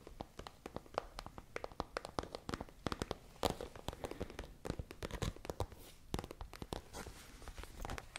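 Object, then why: Plastic pencil pouch. A holographic, iridescent transparent plastic pencil case holding some items is tapped and scratched with long nails close to the mics. Dense, sharp, crinkly clicks and scrapes come in quick bursts over the whole clip, with brief, dry decay.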